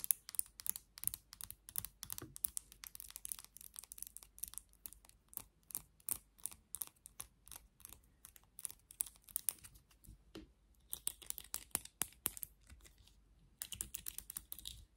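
Long nails tap and scratch the black plastic handle of a vent hairbrush with a silver insert, and rake across its bristles. Quiet, rapid, bright clicks and crisp scratchy rustles run almost continuously, with short pauses near the middle and just before the end.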